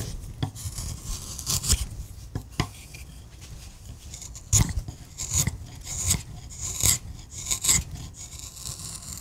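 A hand pushes a steel gouge through a solid wood relief carving on a carved wooden panel, cutting and scraping. Repeated bright, rasping scrapes come in short bursts, each with a low, dull thump underneath. The strokes are dry and stop abruptly with almost no ring.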